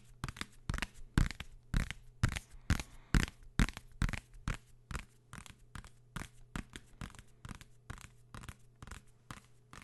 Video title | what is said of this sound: ASMR I Binaural Tapping Sounds für eine ruhige Nacht | von dem material komplett anders und das hört man